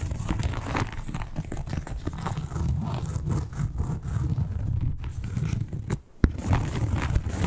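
Long acrylic nails scratch and tap across the embossed scales of a flat red croc-embossed leather wallet. The result is a dense, continuous, low-heavy rasping texture with many quick, dry taps. It drops nearly silent for a moment near the six-second mark before a sharp tap brings the scratching back.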